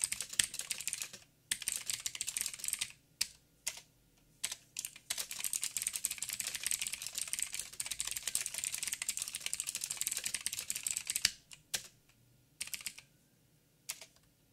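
Fingertips of both hands type continuously on a backlit mechanical keyboard with plastic keycaps and blue clicky switches. Bright, sharp clicks come in dense, rapid bursts separated by brief silent pauses. The clatter is crisp and high with almost no low end.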